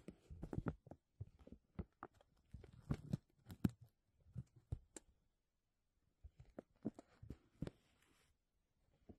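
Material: Plastic.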